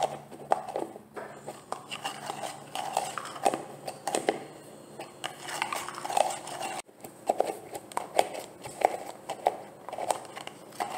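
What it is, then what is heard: Plastic gel jar. Long nails tap rapidly on the lid and body of a large, green, translucent plastic jar of olive oil gel that looks full. Each tap is a light, dry click with a hollow knock around 720 Hz and almost no ring, falling in an uneven, steady patter throughout, with a brief break near the middle.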